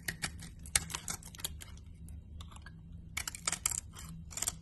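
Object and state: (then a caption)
Soap bar being sliced. A box cutter blade slices thin curls off a solid cream and green soap bar held in the hand. Bursts of crisp, bright crackling and scraping clicks come in quick clusters with short pauses between them, over a faint steady low hum.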